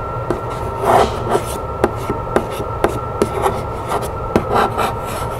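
Long nails scratch and rub the side of a hollow, medium-size decorated printed cardboard box, making soft, dry scraping strokes broken by short, sharp ticks. A faint steady hum runs underneath throughout.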